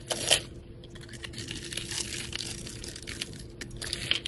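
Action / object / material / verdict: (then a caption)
scrape / soap bar with glitter coating, cut with a metal blade / soap / none. A metal utility blade scrapes and shaves the pre-scored grid surface of a solid, rectangular, multicolored soap bar with a glitter coating, held in hand. The result is a bright, crackly, papery scraping with short crunchy bursts, loudest near the start and again near the end. A faint steady hum sits underneath.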